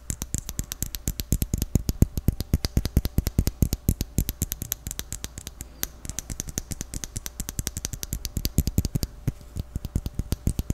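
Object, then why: Small plastic jar with lid. A small, round white jar with its lid closed, likely plastic, is tapped rapidly with fingertips and nails. The quick, dry taps each stop almost instantly, combining a strong low thump with a bright clicking edge, and they run steadily through the clip.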